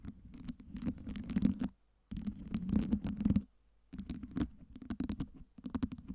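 Long nails scratch the sides and tap the top of a tower of small solid acrylic LED ice cubes. The result is bursts of dry, rapid scratching and light tapping, centered in a low-mid register, broken by short silent pauses.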